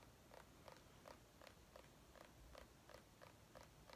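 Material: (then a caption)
Gourd rind. A small white ribbed mini pumpkin, a hollow gourd held in one hand, is tapped and scratched with long painted nails. The result is quiet, hollow taps with a faint ring around 500 Hz, repeating steadily at about three per second over a soft low background hiss.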